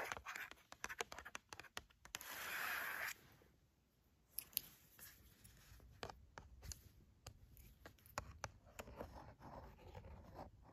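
Fingers and nails tap quickly and irregularly on the cardboard box of a flat Lindt chocolate bar, making sharp, dry clicks. A red plastic tool held in the hand then scratches across the cardboard, giving a steady, bright scraping hiss for about a second. After a brief quiet, lighter taps and scratches continue.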